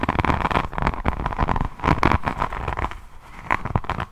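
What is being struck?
Resin rhinestone-covered notebook scratched with nails.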